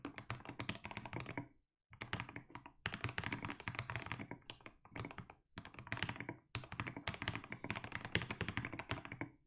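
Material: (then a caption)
Plastic. Fingertips type continuously on a compact mechanical keyboard with blue/grey plastic keycaps. Rapid, deep, thocky keystrokes with bright clacky edges come in dense bursts, broken by brief pauses. Each stroke dies away almost instantly.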